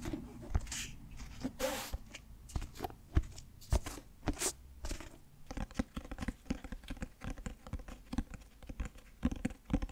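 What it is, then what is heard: Clothbound hardcover book. Fingertips tap rapidly on the cloth cover of a closed, light grey clothbound Frankenstein hardcover with a blue heart pattern, held in both hands. The result is a quick, uneven patter of soft, dull, low thumps that die away almost instantly, with a few brief, brighter scratchy brushes against the cloth in the first half.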